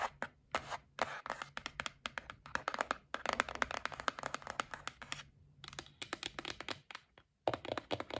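A white printed cardboard gift box is held in hand and tapped and scratched with long nails. The result is a quick, irregular run of short, dry papery taps with bright scratchy rasps between them, mostly in the midrange around 600 Hz. The taps break off in brief pauses near 5.3 and 7.2 seconds before resuming.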